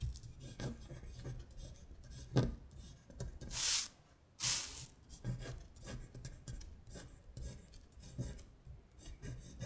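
Long stiletto acrylic nails trace the words on a thin printed paper worksheet of Korean colors lying flat on a glittery surface. The nails make soft, raspy scratching and rubbing strokes, with two louder, brighter swipes near the middle of the clip.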